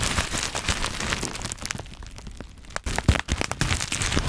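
Black plastic bubble wrap is held in both hands around the microphone while fingers pop the bubbles and crinkle the plastic. Dense crackling and crinkling fill the clip, thinning briefly in the middle before sharp, bright pops with a low thump return near the end.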